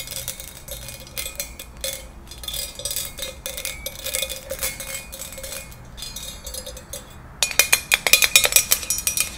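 Long nails tap a small, hollow, empty ribbed pink glass cup or candle holder held in the hands. The result is a steady stream of quick, bright glassy clicks and clinks with very short ring, pitched around 3.8 kHz. In the last two seconds the taps turn louder and sharper.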